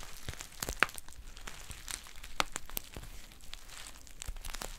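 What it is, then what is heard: Foil pouch crinkling. A green metallic foil tea pouch is squeezed and crinkled with long painted nails. Irregular crinkly crackles and soft rustling follow one another, with a few sharper, brighter snaps standing out near the start and middle.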